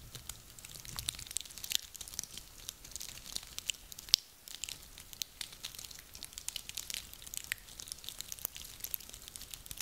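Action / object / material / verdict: scrape / small woody pine cones / wood / none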